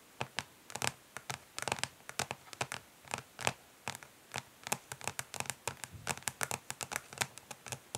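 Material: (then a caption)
Plastic. Long pink nails of both hands tap quickly and lightly scratch the ridged underside of a flat, rectangular, hollow plastic eyeshadow palette lying face down on a grey surface. Dozens of quick, bright clicks ring for almost no time, with soft scratchy rustles in between.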